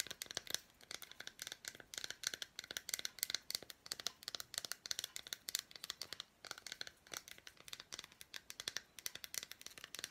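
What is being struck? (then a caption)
Milk chocolate bar with fruit pieces. Long black nails tap and scratch the surface of an unwrapped solid milk chocolate bar with red fruit pieces, held in hands. The result is a quiet, rapid stream of sharp, dry clicks and scratchy ticks, bright and crisp with almost no low end and no ring after each tap.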